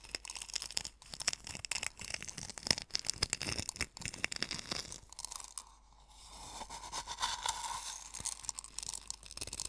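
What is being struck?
Coarse sea salt in a wooden bowl.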